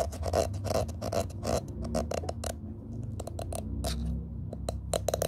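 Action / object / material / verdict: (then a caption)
scrape / plastic-bristle cushion hairbrush / plastic / none. Fingertips rub and scratch across the white ball-tipped plastic pin bristles of a black cushion hairbrush, held close and tilted in the hand. Quick, irregular bursts of bright, crisp scratching and pattering come one after another over a steady low rumble. Each burst stops short with almost no ring.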